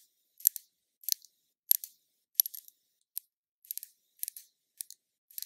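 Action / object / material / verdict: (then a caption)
tap / small glass bottle with liquid / glass / none. Long nails tap a small glass foundation bottle with liquid inside, held in the hand. Quick bursts of two or three sharp, bright clicks come at an uneven pace, thin and high-pitched with no low end and almost no ring after each tap.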